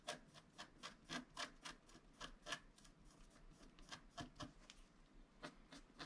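A wooden stylus scratches across a flat black-coated scratch-art card held steady by one hand, working near the bottom edge. About nineteen short, dry, raspy strokes come at an uneven pace, each a bright scratch that stops almost instantly over a faint background hiss.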